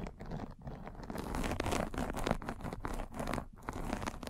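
A metal-spiked derma roller is rolled back and forth across a fine white fabric mesh net pulled over a microphone. It makes a steady scratchy, crinkly crunch with a low rumbling body and brief dips between strokes.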